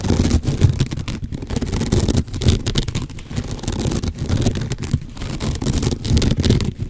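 Fingertips and nails scratch along the fibres of a long cylinder, like a cat scratching post, wrapped in coarse natural sisal or jute rope and held horizontally close to the microphone. The result is a dense, uneven run of rough, rasping strokes with a heavy low rumble and little bright detail, swelling and dipping slightly across the clip.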